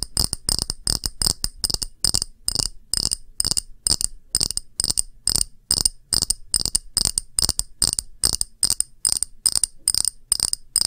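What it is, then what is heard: Glass dish tapped with nails. A round, thick, clear pressed-glass dish held upright is tapped with long nails, producing rapid, irregular bursts of bright, clicky taps. The taps carry sharp high-pitched tones and die away almost instantly with little ring.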